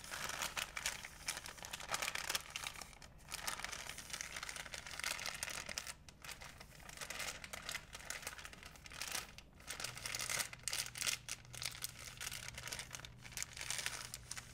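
A thin, empty, white printed plastic art-store bag is folded and crinkled between fingertips and painted nails. It makes dense, bright, crackling crinkles that come in continuous bursts, with brief pauses around 3, 6 and 9.5 seconds. A faint low steady hum enters during the last few seconds.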